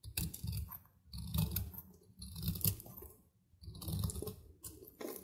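A metal knife slices crumbly flakes off a solid, dry cube of soap held in the hand, the flakes chipping and breaking away. Short bursts of dry, crackly crunching, heavy in the low end with bright crisp edges, come in waves separated by brief quiet pauses.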